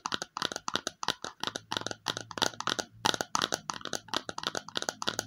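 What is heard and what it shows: The underside of a small, hollow, red glossy plastic bowl is tapped with long fingernails in quick, uneven clusters, about 34 taps in just over five seconds. Each tap is a sharp, bright click with almost no ring, and the sound sits mostly in the higher frequencies.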